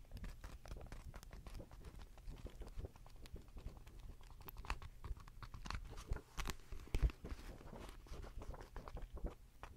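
A medium paperback manga book with paper pages, solid and held in hand, has its pages flipped and riffled with fingers and long nails. Dense, rapid papery crackles and soft taps run continuously with a low rumble underneath, with a few sharper, brighter flicks around the middle.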